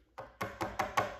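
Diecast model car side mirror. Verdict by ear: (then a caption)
Sturdy. Five light, sharp knocks on the side mirrors of a Mach 1 diecast model car, each a brief bright tick that dies away almost at once. The mirrors take the tapping without a problem, unlike the flexible hard-rubber mirrors on the other model car.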